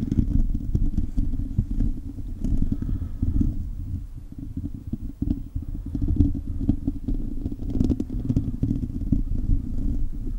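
Fingertips and short nails of both hands scratch the hollow silver metal mesh grille of a handheld-size condenser microphone, sometimes with the mouth open so faint mouth sounds may slip in. The result is a dense, continuous, muffled rumble of rapid scratches, heavy in the low end with almost nothing bright, swelling and easing in loudness throughout.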